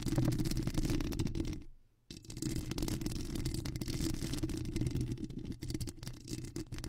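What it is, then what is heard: Foam microphone windscreen being scratched. Long acrylic nails scratch a black foam microphone windscreen, partly with one hand, making a dense, low rumbling rustle with fast, irregular scratching strokes. Around the 2-second mark the sound fades almost to silence before the scratching resumes at full strength.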